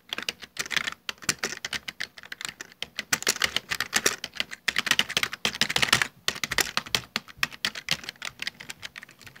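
Both hands type rapidly with their fingertips on a full-size black plastic Dell desktop keyboard with hollow keycaps. A dense, continuous stream of sharp, bright, clacky key taps is heard, each short and dry with almost no low end. The bursts come in uneven runs with brief pauses between them.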